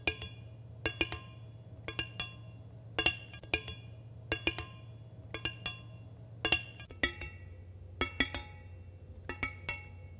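A large solid steel kitchen knife blade, held in hand close to the microphone, is tapped with long fingernails. It gives light, bright metallic clinks in quick pairs and triplets with a short ring, over a steady low hum.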